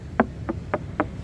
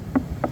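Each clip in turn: First: Five quick, crisp knocks with a woody mid-range tone on a bare, sound wooden boat hull. Second: Two short, dull knocks around 250 Hz on a wooden hull with a fiberglass mesh layer.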